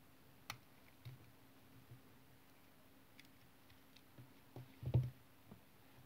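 A solid brown bar of tar soap is held in hand while a utility knife blade shaves thin curls off it. Soft, dull scraping cuts come through as short, low clicks spaced out over a quiet background, with the loudest stroke near the end.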